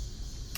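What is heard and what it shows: A single light tap on the plastic dashboard trim beside the air vents of a used Range Rover Sport HSE Dynamic. The trim looks like brushed aluminum, but the tap gives a short, bright plastic tick near the end of the clip. A low steady hum sits underneath throughout.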